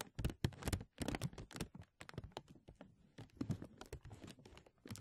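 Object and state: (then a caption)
Crinkling thin plastic film. A thin translucent plastic film sheet is stretched over a mesh microphone and held at both edges by fingertips, then gently pulled and rubbed. It makes close, dense crinkling and crackling in quick bursts with short pauses, and much of the energy sits in a soft low rumble under brief bright snaps.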